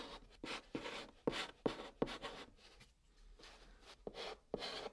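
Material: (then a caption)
Cardboard. A white chalk stick held in the fingers scratches steadily across a flat brown cardboard box surface as it forms letters. The sound is a quiet series of short, dry, bright scraping strokes with a faint midrange tone, separated by brief pauses.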